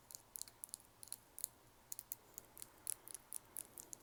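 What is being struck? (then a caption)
Glass nail file. Long nails tap rapidly on a crystal glass nail file, producing about fifteen sharp, bright clicks in quick, uneven succession. Each tap is a short, high-pitched tick that stops almost instantly, over a faint low hum.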